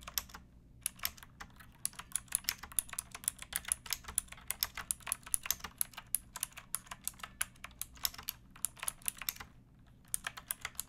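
Fingertips with long nails type on a pink backlit mechanical keyboard with plastic keycaps resting on a wooden block. Quick, bright, sharp clacks come in a steady stream with two brief pauses, over a faint low hum.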